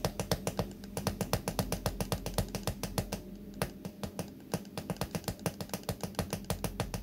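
Fingertips flick and scratch the white pin bristles of a small pink plastic hairbrush held in one hand. The result is a quick, irregular run of roughly 47 short, dry clicks, with a brief quieter scratchy stretch near the middle. A steady low hum sits underneath throughout.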